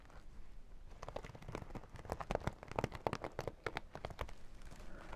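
Long dark nails tap and scratch the glossy holographic vinyl of a small zippered makeup pouch. Quick, dry clicks and crinkly scrapes come in irregular bursts over a soft low rumble, each one stopping dead without ring.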